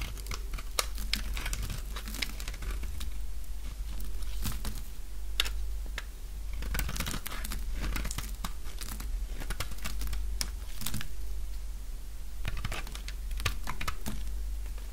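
A light-blue bar of dry solid soap, getting smaller, is shaved with a utility knife blade, giving rapid, irregular crunchy cutting and flaking sounds. Sharp bright scrapes and crackles come in quick bursts throughout, over a steady low hum.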